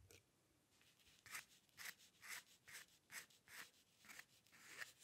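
A steel-nib dip pen with ink scratches ten quick, repeated short strokes across a flat sheet of white drawing paper resting on a dark table, as if drawing hair. Each stroke is a dry, bright, papery scrape with a concentrated hiss in the upper mids and high end, and the strokes arrive in a slightly uneven rhythm.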